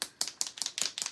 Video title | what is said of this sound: Spring Birdhouse Door Hanger | you have to shake it so you hear that clappy clapping noise